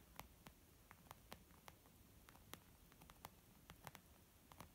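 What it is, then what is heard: Leather makeup bag. Both hands gently tap a small, soft, hollow white saffiano-textured leather zip makeup bag that appears empty and lies flat on a wooden table, using long almond-shaped nails and fingertips. Seventeen quiet, irregular taps are heard, each a short, bright click with a soft, dull body that stops almost at once over a faint background hiss.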